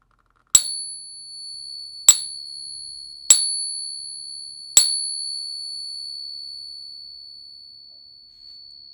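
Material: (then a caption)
Silver. A known authentic silver Peace dollar is pinged four times as a reference. Each strike gives a sharp, bright tap followed by a clear, high, sustained ring that lingers for several seconds. Its ring scores 3 of 3, confirming the coin as real.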